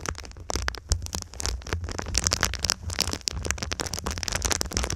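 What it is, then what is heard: Foil-faced foam insulation sheet. A silver foil-faced foam insulation sheet, bent over the microphone, is scratched and tapped by long pink nails across its crinkled foil surface. The result is a dense, continuous stream of crisp crackles, scrapes and quick taps, bright and sizzling on top with a soft low thump beneath each contact.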